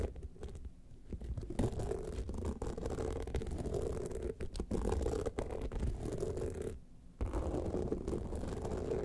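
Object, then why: Rhinestone-studded clutch bag. Long nails scratch both studded sides of an upright gold rhinestone-studded evening clutch bag. The result is a dense, continuous rasping scrape that is heavy in the low end, with brief quieter lulls near the start and just before the end.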